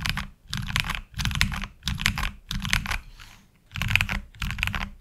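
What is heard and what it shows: Fingertips type on a HyperX Alloy Origins Core tenkeyless mechanical keyboard with black ABS plastic keycaps, resting on a desk mat. Bursts of quick, clacky keystrokes with a solid low thud and bright plastic clicks come in short flurries separated by brief pauses, with a quieter lull near the middle. Fewer keystrokes are struck toward the end.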